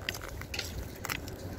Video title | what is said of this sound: PINOY,IBANG KLASI MUTYA SA WAKAS NAGPAKITA DIN GRABE BEAUTIFUL PEOPLE HAPPY NEW YEAR | Iba ang tunog niya. Hindi siya bato eh.